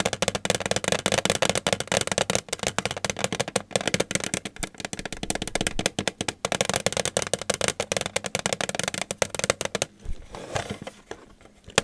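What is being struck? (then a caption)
Metal tin. Fingers tap rapidly on a metal tin, making a dense run of short, bright, clicky taps with a faint tinny tone and almost no ring. The tapping stays busy for about ten seconds, then turns softer and sparser toward the end.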